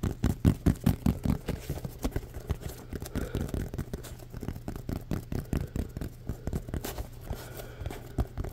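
Fingertips and nails rapidly tap and scratch the textured surface of a small green and grey solid-foam Nerf football. The result is a fast, uneven run of dull, muffled low thuds that die away almost instantly, with soft scratchy brushing between them. The taps are loudest and most regular in the first couple of seconds, then settle into quieter, looser patting over a faint low hum.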